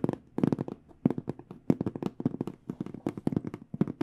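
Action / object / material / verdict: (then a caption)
tap / small hard case with aluminum frame and panels / aluminum / none. Long nails tap quickly across a small, hollow hard microphone case with an aluminum frame and black panels. The result is dense bursts of short, dry clicks with a hollow, low-mid body and very quick decay, each flurry separated by brief pauses.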